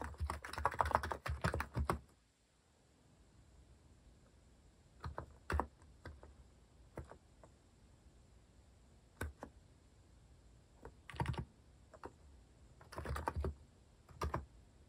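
Fingertips type on a compact mechanical keyboard with a white plastic case and plastic cat-shaped keycaps. A quick run of clacky keystrokes opens the clip, then after a short pause come sparse taps and small clusters of presses. Each keystroke is short and dry with a low thock and little ring.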